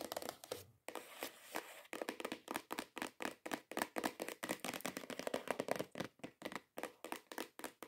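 A long, hollow, cream-colored printed cardboard perfume gift box lying flat is tapped and scratched with long nails and fingertips. Dozens of quick, dry taps sound in a rapid, uneven rhythm, mixed with brief scratchy rustles. Each hit has a hollow papery tone around 570 Hz, with a bright edge and almost no ring.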